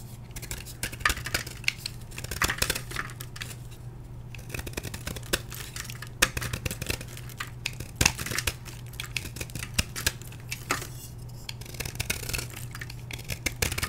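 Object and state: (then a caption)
Gym chalk block being scraped. A solid block of blue-dyed gym chalk, held in the hand, is scraped with a metal blade so chunks flake off onto a plastic tray. Quick, dry, bright scraping and crumbly crunching strokes repeat throughout, with sharper accents on the heavier cuts. A steady low hum runs underneath.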